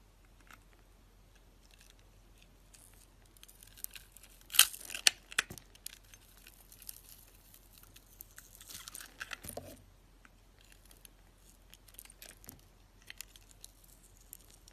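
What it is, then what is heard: Bar soap coated in foam beads. A utility knife carves the pink and yellow foam-bead coating off a hand-held solid bar of soap, revealing pink and white striped soap underneath. Bright, crisp crunching and crackling from the cutting and scraping comes in scattered bursts, with the sharpest snaps near the middle and a softer, longer scrape afterward. Quiet pauses separate the bursts.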